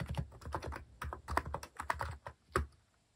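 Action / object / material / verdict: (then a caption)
tap / plastic mechanical keyboard keys / plastic / none. Rapid fingertip typing on a compact white-case Hanmumu mechanical keyboard with cream and orange cat-themed plastic keycaps, resting on a wooden desk. Quick, dry clacks with a low thocky body fall in uneven bursts, ending on one louder keystroke before trailing into quiet.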